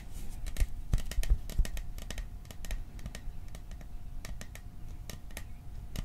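Fingertips and nails tap quickly on a small, hollow, cylindrical metal popcorn tin printed with "Silent Night." The taps come as short, dry clicks at an uneven pace, each with a bright edge and almost no ring. A faint steady tone and low rumble sit underneath.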